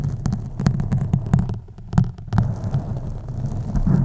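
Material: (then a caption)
Foam. A black foam windscreen on a USB microphone is scratched with long acrylic nails using both hands. The scratching comes through as a deep, muffled throbbing with a low hum centered near 137 Hz and short bright clicks. There is a brief quieter lull in the middle before the steady scratching resumes.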